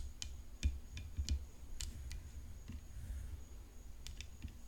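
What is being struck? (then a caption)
Composite tennis racket frame with rhinestones. Long nails tap on the hollow composite frame and rhinestones of a rhinestone-decorated tennis racket resting on black cloth. The taps are quiet, short, bright clicks at an uneven pace over a low, steady rumble, with a faint constant high tone underneath.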